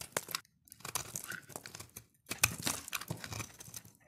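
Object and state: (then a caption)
Dry soap bar being shaved. A dark utility blade shaves crunchy flakes off a solid, dry pink soap bar held in the hand. Bursts of crisp, bright scraping and crumbly crackling come in quick runs, broken by two brief silences. The crunches have almost no ring and little low end.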